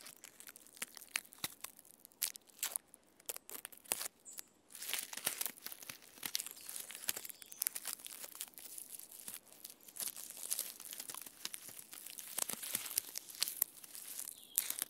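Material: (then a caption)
Bark. Long red-painted fingernails scratch the rough, flaky reddish-brown bark and moss of a standing living tree trunk. The result is a quiet, dense stream of dry, bright crackles and rasping scrapes, with sharp little clicks and almost no low end.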